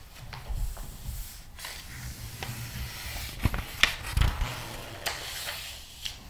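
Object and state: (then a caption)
Glossy paper magazine. Flat palms and fingertips rub and smooth across the pages of a large, open, glossy paper magazine lying flat on a table, then turn one page. A steady, breathy hiss of skin sliding over paper runs throughout over soft low thumps. Several sharper, brighter crinkling swishes stand out in the middle before the rubbing settles back down.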